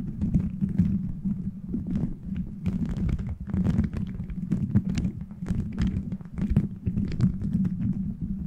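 Fingernails scratch across a beaded plastic gummy-bear cover fitted over a microphone. The result is a dense, continuous rustle with a heavy low rumble and a steady hum, cut through by quick, brief clicky bursts that flicker up into the high range.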